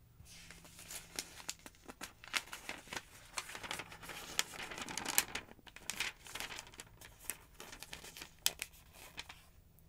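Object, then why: Thick paper phonebook. A long-nailed hand riffles and flips a bunch of thin pages in a thick paper phonebook lying open. It makes a steady stream of bright, crinkling paper rustles and quick flicks with sharp, short snaps over a faint low hum.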